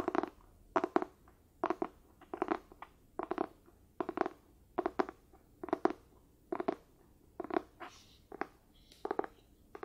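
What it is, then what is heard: Cloth-bound hardcover book. The cover of a solid, closed, medium light-blue cloth-bound hardcover book with a darker spine, held up near the camera, is scratched and tapped with fingertips and nails. Quiet, dry scratchy taps come in short clustered bursts at a steady pace, with a soft mid-range body and a bright scratching edge. Each tap dies away almost at once, with no ring.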